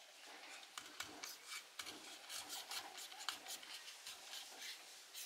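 A solid blue laundry soap bar, partly carved and held in the hands, has chips scraped and sliced off its edge by a metal blade, with the shavings piling on the floor. Bright, dry scraping and rasping fills the clip, broken by short crisp cuts and no low rumble.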